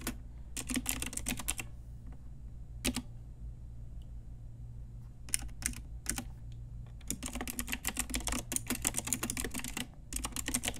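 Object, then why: Plastic mechanical keyboard keys tapped with fingernails. Fingertips and long nails of both hands type on a pink Ajazz Typewriter Retro mechanical keyboard with round plastic keycaps. Bursts of quick, bright, sharp clacks come in runs separated by short pauses, over a steady low hum.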